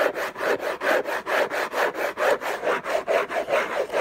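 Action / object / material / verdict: scrape / cardboard gift box / cardboard / none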